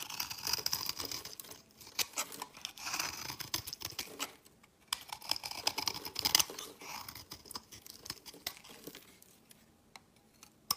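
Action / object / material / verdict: scrape / soap bar cut with a metal blade / soap / none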